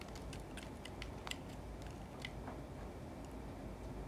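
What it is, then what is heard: Bar of soap being scraped with a knife. A yellow snap-off utility knife scrapes and cuts curls and flakes from the face of a solid, hand-sized white soap bar held in the fingers. Faint, crisp ticking scrapes with brief bright edges sit over a steady low rumble. The clip stays quiet throughout, with only one slightly sharper cut standing out.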